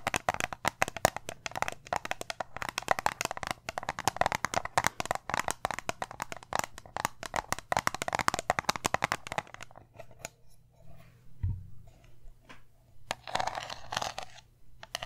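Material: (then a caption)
Metal. Long nails tap and scratch a small round metal tin with an embossed lid in a fast, dense flurry of sharp clicks for about nine seconds. The sound then thins to sparser, quieter taps and scratches, with a brief low thump near the middle and a burst of bright scratching toward the end.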